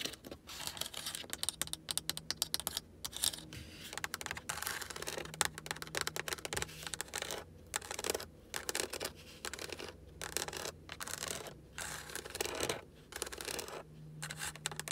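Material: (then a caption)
Plastic. Long acrylic nails tap and scratch the top of a large, hollow-backed black textured plastic car dashboard around an air vent and speaker grille. Rapid, crisp clicks and dry scraping sounds come in dense bursts separated by short pauses. A faint steady low hum runs underneath.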